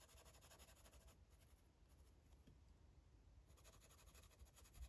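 A grey-barrel felt-tip marker rubs and scratches across the page of an open paper coloring book lying flat on a table while coloring. Soft, rapid scratchy strokes with a bright hiss come in bursts at the start and end, with a quieter stretch in the middle, all over a low, steady rumble.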